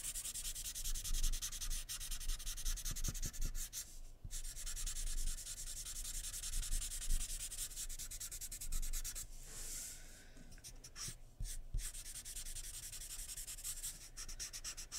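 A pencil held in the fingers rapidly shades the lips and face area of a drawing on a sheet of white drawing paper lying flat on a wooden table. Dense, bright scratching strokes run almost continuously, broken by a few brief pauses.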